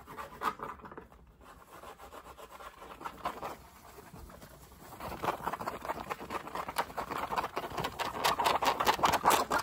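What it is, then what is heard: Fabric baseball cap. Fingertips rapidly tap and scratch the crown and brim of a dark grey fabric baseball cap worn on the head, making a dense run of dry, scratchy taps centered in the midrange with bright edges. The sound eases into a quieter, softer stretch in the middle while the hand stays close to the cap's edge, then returns louder and faster toward the end.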